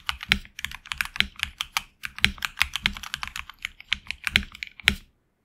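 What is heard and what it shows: Fingertips of both hands type on a HyperX Alloy Origins Core, a tenkeyless mechanical keyboard with HX Red switches, PBT plastic keycaps on an aluminum plate, and a hollow case. A steady run of short, bright, clicky keystrokes with very little low end comes in uneven bursts, with a few louder clacks. It stops abruptly just after five seconds.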